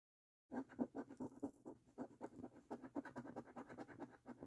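A thin, flat paper lottery scratch card with a latex coating lies on a dark wooden table, held by fingertips and scratched with the edge of a metal coin. After a half second of silence, about 21 quick, rhythmic raspy scrapes follow one after another. The scrapes have a dry mid-range grit with a faint bright hiss and almost no low end.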